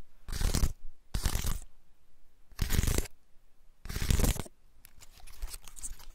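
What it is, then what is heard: Dry pine cone. A large, dry, woody pine cone with open scales is held in both hands while fingertips and nails scratch and rub along its scales. Four separate bursts of dry, bright, crunching scratches are heard, with quiet gaps between them, followed by lighter scattered crackles and ticks at the end.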